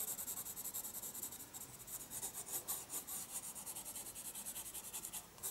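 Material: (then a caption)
Paper. A pencil scratches and rubs dense hatching onto the paper page of a spiral sketchbook. The sound is a quiet, steady run of bright, papery strokes with a rhythmic back-and-forth scratch.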